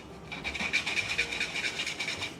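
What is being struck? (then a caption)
Graphics card backplate. The plastic back plate of an MSI RTX 5080 Shadow 3X graphics card is tapped and scraped, producing a quick run of dry, high-pitched clicks and rasps centered around 2.4 kHz with almost no low end. The sound marks the back plate as plastic rather than metal, so thermal pads probably won't matter.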